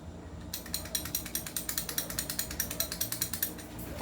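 A non-upgraded airsoft gun, held with a finger on it, is shaken front and reverse, producing a rapid, fairly regular series of bright mechanical clicks and rattles from its loose parts. The rattling starts about half a second in over a low background hum and continues to the end of the clip.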